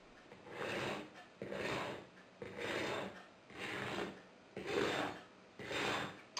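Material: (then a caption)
Bread crust. A fork is scraped back and forth over the crust of a freshly baked homemade loaf made from leftovers, giving six rough, crunchy rasping strokes at about one per second. The scrapes are bright and scratchy, confirming a nicely crunchy crust.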